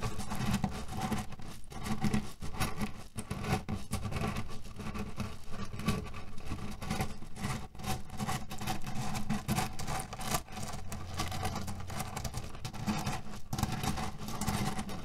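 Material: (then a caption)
Cherry pits. Fingernails of both hands scratch a cotton canvas pillow filled with cherry pits, producing a steady, dense stream of rustling scratches and soft, muffled rattling of the pits inside. The sound is mostly low and dull, with little bright content, and it stays at a fairly even level throughout.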